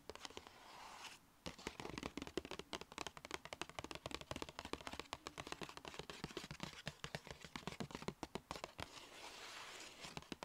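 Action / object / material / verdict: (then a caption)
tap / paper gift bag / paper / none. Long red nails tap fast on the front panel and top edge of a small, hollow, black-and-white striped Sephora paper gift bag. Dense bursts of sharp, dry clicks land with almost no ring, over a faint soft background hiss that swells near the start and the end.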